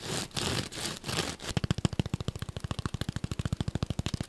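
A solid, palm-sized yellow porous foam sponge is held close and rapidly scratched with short fingernails, giving a few bursts of dry, hissy rustling. It then switches to a fast, steady run of soft, thudding fingertip taps with a low, muffled body and a faint bright click on each hit.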